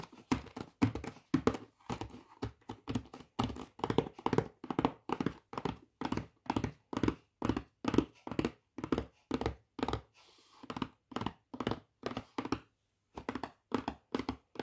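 Fingertips and nails tap and scratch the front of a full, flat rectangular Greggs vegan steak bakes box made of printed thin cardboard. Quick, dull, papery taps come in steady rhythmic bursts with almost no ring. A brief softer, scratchy stretch near the ten-second mark breaks the pattern before the tapping resumes.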